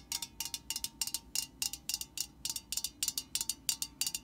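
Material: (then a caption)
Thin metal. Long nails tap the metal body of an upright aerosol spray can, making 23 quick, bright, tinny clicks in short clusters. Each tap is sharp and high-pitched with almost no ring or low end, over a faint, steady background hiss.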